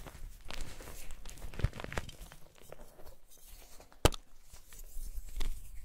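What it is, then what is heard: Gym chalk blocks being crushed. White solid gym chalk blocks of magnesium carbonate are gripped in both hands over chalk powder and crushed and crumbled by the fingers. Dry, gritty crunching and crackling carry on throughout, with sharp snaps standing out near 1.6 and 4 seconds. Soft low thuds sit under the brittle crumbling.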